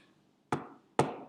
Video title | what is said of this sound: SBDP Kelas 2 TEMA 7 SUB TEMA 1 KEBERSAMAAN | meja-meja yang diketuk berbunyi tok tok Kalau dipukul pakai benda itu akan keras sekali